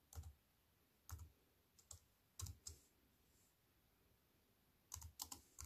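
Fingertips with long white-painted nails type on a slim wireless keyboard with a silver aluminium frame and black plastic chiclet keys, resting on a wooden table. Short, crisp key clicks come in irregular bursts with a soft low thud and a bright tap on each press, separated by quiet pauses.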